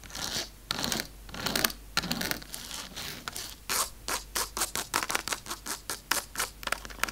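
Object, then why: Dark chocolate bar. Long acrylic nails tap and scratch fast across the squares of a large, solid, segmented dark chocolate bar lying flat on a table. Longer dry, bright scraping strokes come first, then give way to a quick run of short, crisp clicks and scratches.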